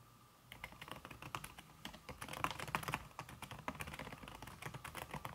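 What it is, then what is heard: Keyboard with silicone key cover, typing. Fast typing with fingertips and red-painted nails on a slim backlit aluminum keyboard whose keys are covered by a red silicone skin. After a brief quiet start, a rapid, steady stream of soft, muted key taps follows, each dry and short with no ring.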